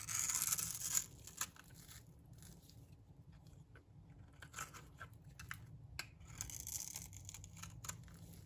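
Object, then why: Bar of soap scraped with a metal blade. A light green solid bar of dry soap held in the hand is scraped with a metal blade, breaking off crumbly shavings. A loud, bright, raspy scrape opens the clip, followed by quieter irregular scratches and crisp ticks, then another longer scraping pass near the end.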